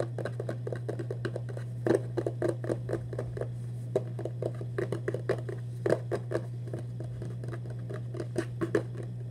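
Fingertips and short nails tap rapidly and irregularly on the side and lid of a red-printed Vans cardboard shoebox, hollow and lidded, held upright against the chest. The taps are short, hollow and dull, with a few louder knocks standing out. A steady low hum runs underneath throughout.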